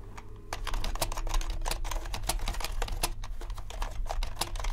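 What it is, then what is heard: Mechanical keyboard typing. Both hands type with their fingertips on a compact mechanical keyboard with black and white plastic keycaps. A rapid, steady stream of short, bright clicks and clacks runs over a constant low hum.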